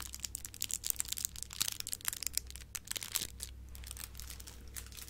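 A light, crumply silver metallic foil gift bow decoration is crinkled and squeezed with fingertips and long nails. Dense, bright crackles and sharp crinkly snaps come in quick irregular bursts over a faint steady low hum, with each crackle dying away almost instantly.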